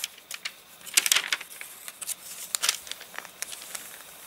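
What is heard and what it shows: Hands handle a paper catalogue whose pages dried stiff and crinkled after getting rained on: a page is turned, a palm rubs across it, then fingers lift and crinkle another page. The sound is a run of dry, bright, papery crackles and rustles, with bursts of sharp crinkling standing out against soft scraping.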